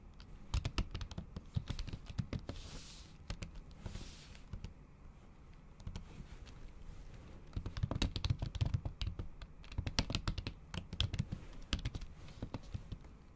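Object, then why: Laptop keyboard with plastic cover. The tips of long acrylic nails tap repeatedly on a MacBook keyboard covered by a thin pink patterned plastic or silicone cover over its solid keys. The taps are quick, clicky and dry, with a dull low thump under each one and almost no ring. They come in irregular bursts, with a couple of brief soft swishes early on and a quieter stretch in the middle.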